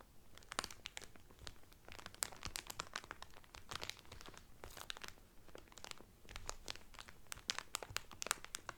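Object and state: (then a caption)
Cellophane wrapper crinkled over a towel. Hands crinkle and rub the clear cellophane wrapper on a flat cotton towel. It makes a dense run of sharp, bright crackles with quick brushing noise between them, each snap dying almost at once.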